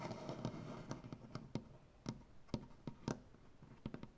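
Fingers with black-painted, clawed nails tap rapidly on a solid maple butcher block tabletop. The short, dry knocks stand out against a soft, low, scratchy background and die away almost instantly with a woody, low-heavy tone.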